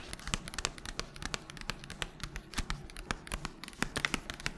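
A small, flat pink guitar-string packet in a thin paper and foil sleeve is crinkled and squeezed by gloved fingers with long nails as it moves around the head. Dense, close crackling and crinkling come through with sharp, bright ticks and quick papery scratches over a soft low rustle, with no ring after each snap.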